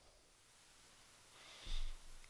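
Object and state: Nothing is struck.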